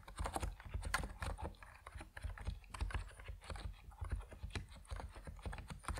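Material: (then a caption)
Plastic. Steady typing on a compact plastic mechanical keyboard, the Epomaker NiZ Plum Atom 68, with white and purple PBT keycaps, as fingertips press the keys. The keystrokes land as quick, short-ringing clicks and thocks with a strong low-end body, running in a dense, continuous stream with no pauses.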